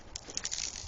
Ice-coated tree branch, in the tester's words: very thick you can hear it as we shake it